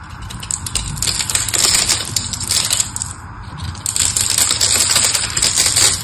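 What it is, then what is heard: Bar soap being carved. A small blade carves crumbly flakes off the face of a solid, palm-sized pink bar of soap held in the hand, using rapid scraping cuts. The sound is a dense run of bright, crisp scraping and crackling with a brief quieter lull partway through before the cutting picks back up.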